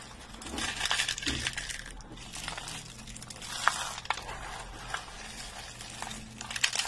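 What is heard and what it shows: A pile of brittle, thin, dry green soap flakes is crushed and crumbled in both hands with the fingertips. The result is a continuous bright, crisp crackling and crunching, with a few sharper snaps standing out now and then.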